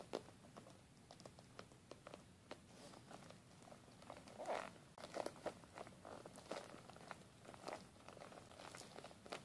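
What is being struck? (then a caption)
Glitter-coated fabric zippered makeup pouch. A small silver glitter-coated zippered makeup pouch with a metal logo plate, soft and hollow, is tapped and scratched with fingertips and nails. Quiet, dense scratchy crinkling runs throughout, broken by brief sharper ticks and a few louder taps around the middle.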